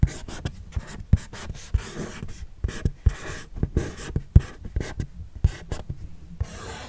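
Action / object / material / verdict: tap / cardboard box / cardboard / none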